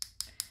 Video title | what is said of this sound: Encapsulated Nails, Tutorial?? 2022 | You'll know if it's dry because you can hear the tapping sound.